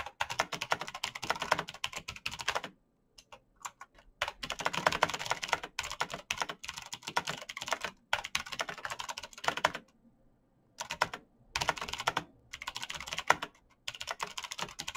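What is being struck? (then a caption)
Plastic mechanical keyboard. Bare fingertips type rapidly on a black plastic mechanical keyboard with clicky switches, producing dense bursts of sharp, bright clicks. The typing comes in runs separated by short silent pauses.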